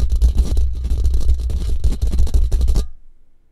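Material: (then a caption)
Steel mesh. Fingertips and short nails rapidly scratch and scrape a hollow steel mesh microphone grille with a metal band. The result is a dense, fast run of gritty scraping bursts over a heavy, booming low rumble around 70 Hz, with bright hiss in each stroke. The sound stops abruptly near 2.9 seconds and leaves only a faint low hum.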